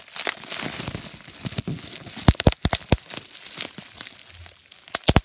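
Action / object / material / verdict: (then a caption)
scrape / plastic bubble wrap sheet / plastic / none. Fingertips pinch, squeeze and crinkle a thin, crumpled, translucent plastic bubble wrap sheet held close, popping its air bubbles. A steady bright crinkling crackle fills the first two seconds, followed by a run of sharp, loud pops with quieter rustling between them and a final cluster of pops near the end.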